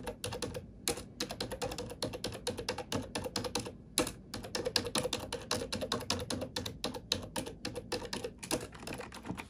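Fingertips with long nails tap and type on a black plastic computer keyboard for relaxation. A steady run of quick, bright plastic clacks comes with short pauses, each keystroke sharp and dying away almost at once.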